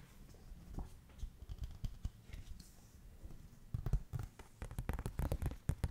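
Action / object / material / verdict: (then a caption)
tap / thin softcover paper booklet / paper / none. Long nails tap and pat rapidly on the glossy printed cover of a thin softcover paper rule booklet held up in the air. The hits are soft, dull and low, with almost no ring, over a faint hiss. They come in loose bursts and grow denser and louder toward the end.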